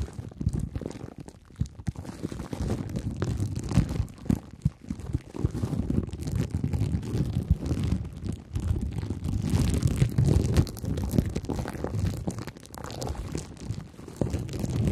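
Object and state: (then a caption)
Plastic cling film scratched and poked. Clear plastic cling film stretched over a head is scratched and poked with two thin wooden sticks. The result is a dense, continuous run of muffled, low crinkling and scratching, dotted with many quick, dry taps. There is almost no bright top end.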